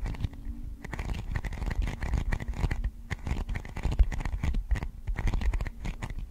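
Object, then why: Thin plastic container lid. Long acrylic nails rapidly tap and scratch a thin, transparent, hollow plastic container lid held in both hands in front of a microphone. The result is a dense, continuous stream of quick clicks and scratchy scrapes with a dull, low-heavy body and almost no ring after each tap.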